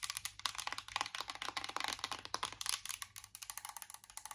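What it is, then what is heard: Metal tin eyeshadow palette. Long acrylic nails tap quickly on a closed Too Faced chocolate-bar eyeshadow palette, a small, hollow, embossed metal tin. About thirty short, bright, clicky taps come in an uneven rapid run, each dying away almost at once with a faint hollow tinny tone and almost no low end.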